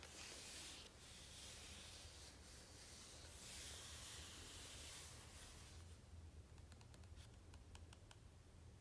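Fingertips and palms rub and scratch across the glossy printed pages of a large open hardcover book lying flat on a grey floor. For about six seconds a steady, bright papery hiss swells and eases over a faint low hum. It then thins into a quieter run of short, crisp scratches and ticks.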